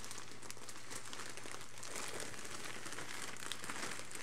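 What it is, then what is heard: Plastic mailer bag. Leather-gloved hands rub, press and crumple the surface of a filled, parcel-sized grey polythene postal mailer bag resting on carpet. A steady, dense plastic crinkling fills the clip with bright, crackly texture over a constant low hum.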